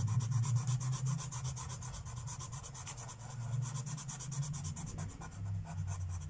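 A felt-tip marker (Sharpie) is rubbed in fast, short strokes across a thin paper page of a coloring book resting on a wooden table while coloring. The result is a steady, rapid scratchy rubbing, with quick bright swishes at about three strokes per second over a low, dull hum from the table.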